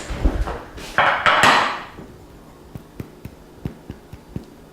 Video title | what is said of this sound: 34. Stuffed Anaheims with Herbed Foccacia, Sensual shells, Flaming Poached Pears | if i knock on it with my knuckle and i hear a hollow sound that's totally what i'm hearing now